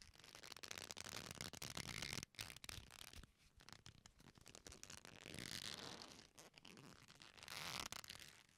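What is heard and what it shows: A thick leather belt with a metal buckle hanging down has its strap squeezed, twisted and rubbed with the fingertips of both hands. The result is a dense, bright crackling and creaking rustle that swells and fades in waves, with many short clicks scattered irregularly throughout.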